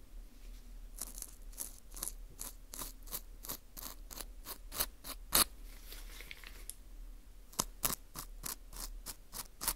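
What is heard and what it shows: A thin metal pick scratches the surface and hole of a dry, porous wheat gluten ring (fu) held in a gloved hand. It makes a quick, steady series of short, crisp, bright scrapes with a dry crunchy texture over a faint low hum. There is a slightly scuffier stretch midway before the crisp strokes resume.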